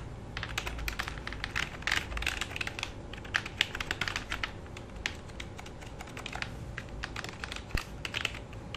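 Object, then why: Plastic computer keyboard. Fingertips of both hands type and tap on the keys of a black full-size plastic computer keyboard resting on a lap. A steady, uneven stream of quick, bright plastic clicks comes through, each one dry and dying away almost at once, over a faint low background rumble.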